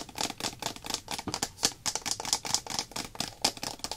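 Long black-polished nails tap quickly on a small, hollow white plastic bottle of clear PVA solution, apparently full, held in the hand. About twenty short, bright, clicky taps come in an uneven, fast rhythm over four seconds, each dying away almost instantly with very little low end.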